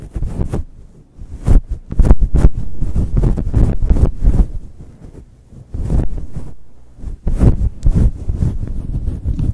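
Fingertips and long chrome nails scratch the sides of a fluffy grey synthetic fur windscreen on a Blue Yeti microphone in fast, aggressive strokes. The result is a deep, muffled rumbling and thumping, like wind buffeting the mic, in loud bursts separated by quieter stretches.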